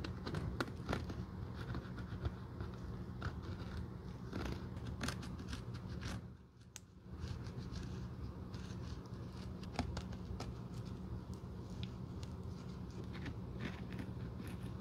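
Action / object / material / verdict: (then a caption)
scrape / cork sandal footbed / cork / none. A thin metal probe scrapes and picks along the cracked, solid cork side wall of a Birkenstock sandal footbed, above a black rubber sole, while the sandal is held in gloved hands. Many short, dry, bright scratches and crackles sit over a steady low hum, possibly faint background music. There is a brief quieter pause around the middle.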